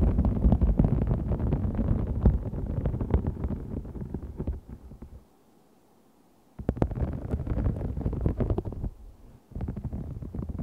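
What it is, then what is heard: Faux snakeskin vinyl sheet. Fingertips and long nails scratch and tap a large, thin, flexible green-gold holographic faux snakeskin vinyl sheet with a raised scale texture lying flat. The sound is a dense, low, rumbling crackle of rapid scratches and taps. It goes quiet for about a second and a half near the middle, then resumes with another brief pause near the end.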